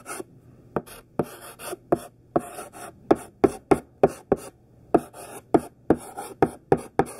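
Thick, chunky pink sidewalk chalk, gripped in the hand, writes large capital letters on a black chalkboard. About 19 irregular strokes each start with a sharp tap and trail into a short, dry, bright scratch, with brief pauses between letters.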